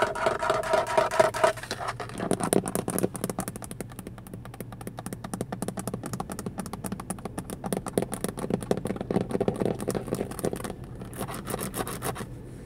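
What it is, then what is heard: Plastic steering wheel airbag cover. Fingertips and long nails rapidly tap and scratch the large, slightly hollow black plastic airbag cover at the centre of a car steering wheel with a chrome logo. The result is a steady stream of quick, dry clicks and scraping, with a faint ringing tone in the first moments.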